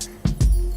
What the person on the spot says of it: it should sound quite hollow when it's tapped